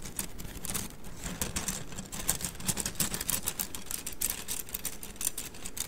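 A bundle of thin, solid wooden mikado sticks is held horizontally in both hands while the fingers roll and rub the sticks together. This produces a rapid, continuous run of dry, bright clicks over a low rumble.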